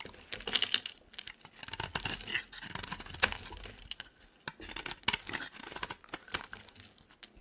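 A utility knife blade scrapes and carves flakes off a dry, solid oval purple Dove soap bar held in the hand. Quick, crisp scrapes and crackly shaving strokes come in short bursts, bright and dry with almost no low end or ring.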